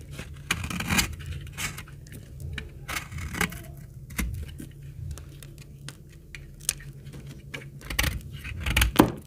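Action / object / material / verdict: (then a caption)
scrape / laundry soap bar cut with a blade / soap / none. A snap-off utility blade cuts slices from the edge of a very old, dry, solid, dark brown, hard laundry soap bar held in the hand. A rapid series of crisp, short scraping cuts and dry snaps crackles over a low, steady rumble, each cut bright and ending quickly with almost no ring.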